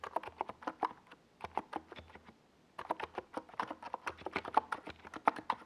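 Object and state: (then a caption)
Plastic mechanical keyboard being typed on. Fingertips of both hands type fast on a compact 68-key NiZ Plum Atom 68 plastic mechanical keyboard with a white plastic case and purple and yellow Domikey Gas Attack SA plastic keycaps, resting on a desk pad. Quick, dry clacks with a mid-pitched tone around 875 Hz come in dense bursts, with a brief pause in the middle before the typing resumes.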